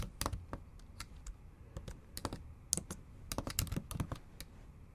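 Long acrylic nails tap and type on the black plastic keys of a MacBook Pro keyboard set in an aluminum body. The taps come in quick, irregular bursts of sharp, bright clicks with a soft low thud under each one, and every click dies away almost at once.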